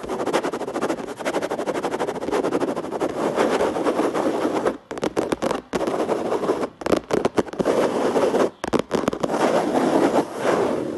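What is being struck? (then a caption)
Plastic surface. Rapid, dense tapping on a plastic surface produces a steady stream of quick, dry clicks centered in the midrange. Several brief pauses break the flow near the middle before the fast tapping resumes to the end.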